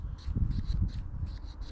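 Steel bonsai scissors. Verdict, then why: Sharp. Freshly sharpened steel bonsai scissors are opened and closed, their blades rubbing together in a quick series of bright, airy "shaka-shaka" swishes over a low rumble. The crisp sliding sound shows the sharpening succeeded.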